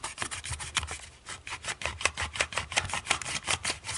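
Long nails tap and scratch the ribbed, dotted textured back of a small, hollow black plastic TV remote lying face down. The result is a quick, irregular run of dry, bright clicks and raspy scrapes, mostly high-pitched with little low end and almost no ring after each tap.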